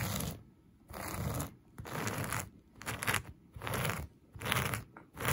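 A black plastic vented hairbrush, held in one hand, is brushed and scratched back and forth across a flat, soft beige-and-brown synthetic plush carpet. Each stroke gives a bright, raspy swish over a low, soft rumble, with the strokes rising and fading in a steady but uneven rhythm.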